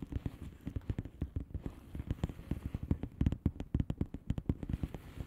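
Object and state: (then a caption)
Plastic bubble wrap envelope. Long fingernails of both hands tap rapidly on the air-filled bubbles of a flat blue plastic bubble wrap envelope. The result is a quick, irregular stream of short, dull taps with a soft, muffled low-end thump and almost no bright edge. Each tap dies away almost instantly.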